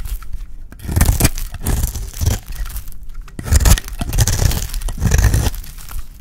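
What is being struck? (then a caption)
Bar of soap scraped with a blade. A solid, oval, peach-colored dry soap bar is held in the hand and scraped into thin shavings with a utility blade. Repeated rasping, tearing strokes come in bursts with crisp crinkly scraping, heavy in low rumble with faint bright edges.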